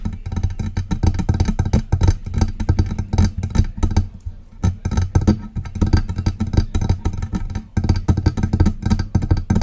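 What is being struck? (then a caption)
Metal desktop microphone body. Long press-on nails tap and scratch the lower hollow body of a silver metal USB desktop microphone. The result is a dense, rapid run of soft, low, thumping taps with a boomy resonance around 90 Hz and faint bright clicks on top. Each tap is short and dies away quickly, and there is a brief quieter pause just before the middle.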